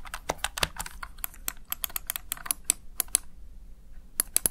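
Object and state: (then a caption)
Plastic gaming keypad. Fingertips press and tap the backlit keys of a plastic Razer Tartarus Chroma gaming keypad rapidly, producing twenty short, dry, bright clicks with no ring. The taps come in a quick, uneven flurry, pause briefly, then end with a final few clicks.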